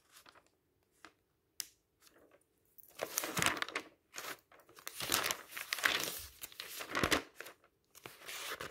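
Fingertips turn the pages of an open magazine of thin paper lying on a table, making dry, bright crinkling and soft flapping sounds. It begins with a few quiet, scattered rustles and a sharp flick, then grows into louder, denser stretches of crumpling paper from about three seconds on.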